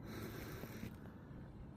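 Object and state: Nothing is struck.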